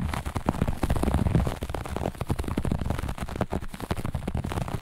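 Long nails on both hands scratch fast and aggressively across a flat looped grey-beige carpet. The result is a dense, continuous run of rough, rapid scratching strokes that blur together, with most of the sound weight low and very little brightness.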